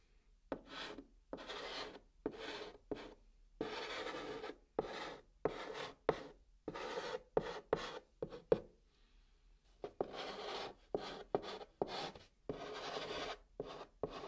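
A hand writes with a chalk stick on the top of a flat brown cardboard box, making a series of short, dry scratching strokes. The rasps come in separate bursts, some longer and smeared, some quick, with a few sharper taps where the chalk meets the board. The sound is mostly mid-range with a bright, gritty edge.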